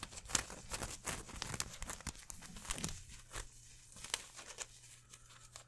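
Hands crumple and rub a green polyester mesh football jersey and its number patches, held close to the microphone. The result is a dense, bright, crinkly rustling with sharp crackling bursts over a faint low hum, fading to quieter rubbing toward the end.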